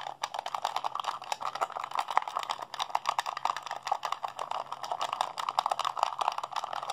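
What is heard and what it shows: A hollow blue plastic PlayStation 3 handheld controller, held in both hands, has its buttons and sticks rapidly pressed and mashed by fingertips and thumbs. The result is a dense, continuous stream of short, dry plastic clicks and clacks centered in the midrange, with brief bright edges. The clicks do not ring out.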